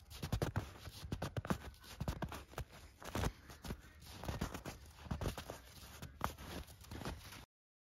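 Bare hands dig into and squeeze packed snow on the ground, crushing clumps between the fingers. A dense run of low, crunchy compressions and gritty scrapes continues for about seven and a half seconds, then cuts to silence.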